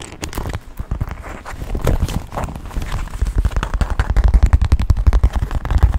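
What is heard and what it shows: A small black quilted leather handbag is held upright close to the microphone and tapped rapidly with fingertips and nails on its leather surface. The result is a fast, uneven patter of soft, dull, low thumps with very short decay, growing somewhat louder toward the end.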